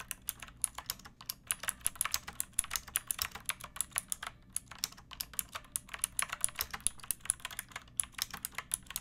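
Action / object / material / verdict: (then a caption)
tap / plastic mechanical keyboard / plastic / none. A pink plastic mechanical keyboard with round backlit keycaps and a hollow body is typed on with long painted nails and fingertips. It gives a steady run of dozens of quick, crisp, bright clacks with no ring after each one, over a faint low background.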